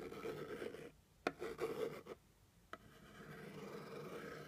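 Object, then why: Cardboard box. A white plastic pointed stick scratches the top surface of a hollow brown kraft cardboard box, making a dry, papery rasp. The scratching stops and starts with short pauses, and two sharp clicks stand out. The rasp picks back up and carries steadily to the end.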